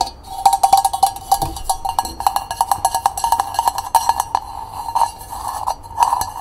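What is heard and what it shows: A small, hollow, hammered copper cezve is tapped rapidly on its walls and rim with long painted nails. The taps give quick, bright clicks over a steady metallic ring near 785 Hz, and each one dies away almost at once.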